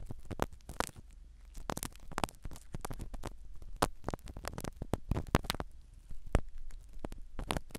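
A black spiral ear pick scratches and rubs the foam cover of a small black microphone set in the canal of a silicone dummy ear. Close, muffled crackling and scraping sounds come in quick, irregular bursts, heavy in low rumble with sharp clicks and rustles.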